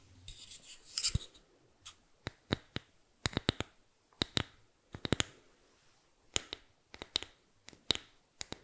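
Fingernails scratch and rub across the face and edge of a small, flat, solid bamboo board with an engraved logo. A soft, bright rubbing hiss opens the clip, then a long series of sharp, dry scratches and clicks follows. Each one is bright and snaps off almost instantly, with quiet gaps between them.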